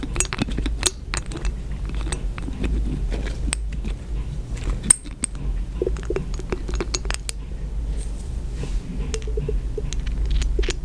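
Long green fingernails tap and clink a small cobalt-blue glass dropper bottle, apparently partly full, and the glass dropper is lifted out of its neck. Many quick, bright, short clicks and chinks sound over a steady low hum.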